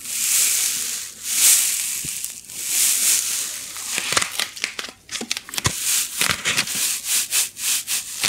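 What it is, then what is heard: Styrofoam packing block. A white styrofoam packing insert of solid light foam is rubbed and scratched with long nails right next to the microphone. Bright, hissy rubbing swells give way to a run of sharp, squeaky scratches and crackles, all concentrated in the high range with almost no low end.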